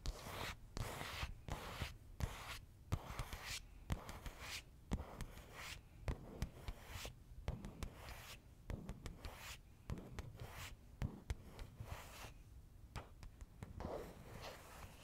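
Long pink-and-white nails scratch across the surface of a large, thin, translucent plastic zip bag with flat white items inside, held close to a fluffy-covered microphone. Quiet, crinkly scratching and rubbing come in repeated short bursts with brief pauses, spreading a bright hiss over a soft low rumble.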